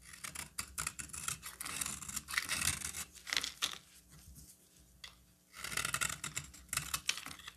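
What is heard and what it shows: A solid green bar of soap held in the hand is carved into chunks with a metal utility knife blade, making crisp, bright scraping and crunching cuts. The cuts come in dense bursts, with a quieter stretch of lighter scraping in the middle before the carving picks up again.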